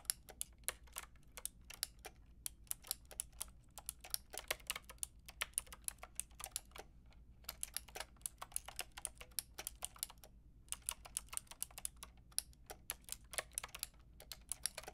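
Fingertips with long painted nails type on a pink and white plastic mechanical keyboard with round plastic keycaps. The result is a steady stream of sharp, bright, dry clicks with brief pauses near 2.5, 7.5 and 10.5 seconds. The clicks sit over a quiet, low background hum.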